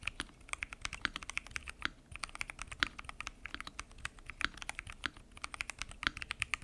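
Continuous typing on a full-size mechanical keyboard with lubed switches, pink and mint PBT keycaps and a transparent acrylic case. Fingertips tap the keys in a steady stream of quick, bright clicks and clacks. Each keystroke is short, with almost no ring, and there is little low-end thump.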